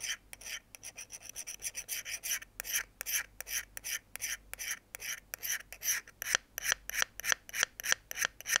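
A thin metal pick held in the fingers scratches repeatedly along the edge of a small folding pocket knife's solid steel blade over a wooden board. The result is a quick, uneven run of short, bright rasping scrapes, with almost no low end and no ringing after each stroke.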